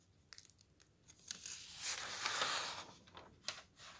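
Fingertips slide along and turn the very thin paper pages of a thick softcover camping guide. Scattered soft, crisp ticks and light rustles build into a longer bright, papery swish in the middle, then give way to more faint crinkles and a sharp tick near the end.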